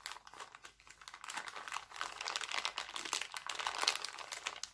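An empty, thin, clear cellophane bag printed with hearts is smoothed out and crumpled by hand. It makes a dense, bright crinkling and crackling with quick, sharp snaps and almost no low end. The sound starts quieter and builds into a busier, louder crumple before easing off.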